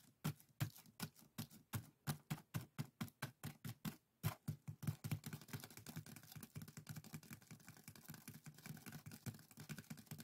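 A pair of small, hollow, empty scoop-shaped strainers woven from thin split-bamboo strips with colored strips, tied together as one traditional Korean bokjori set, rests on a table while fingertips and short nails scratch and rub the woven strips. It starts with distinct, evenly spaced dry scratches and taps, then turns into a faster, denser stream of rustling clicks. The sound is close and crisp with a low hollow body and very short decay.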